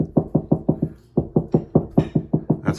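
Knuckles knock on a drywall wall section while searching for a stud to mount a fire extinguisher: fourteen short, dull, low thuds in two runs separated by a brief pause near one second. The spot sounds hollow, meaning there is no stud behind it.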